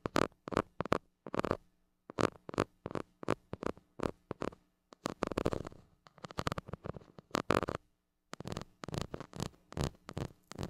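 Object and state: Metal mesh microphone grille scratched and poked.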